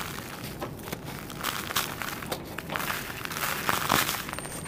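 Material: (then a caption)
Sand cement. Bare fingertips grip flat, solid, dusty slabs of dried red sand-cement piled on a plastic sheet, crushing them and crumbling the edges into powder. Irregular dry crunches and gritty crackles come in quick, uneven bursts with a bright, crisp edge. Soft sandy rustling fills the gaps between the louder snaps.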